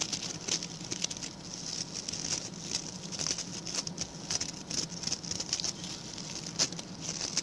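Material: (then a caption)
Coconut fiber. Fingertips and short nails of both hands scratch and flick the stiff brown bristles of a small round, ring-shaped coir (coconut fiber) brush with a pink plastic handle. The result is a dense, bright, crackly patter of quick scratches with occasional sharper flicks. Each one dies away almost instantly.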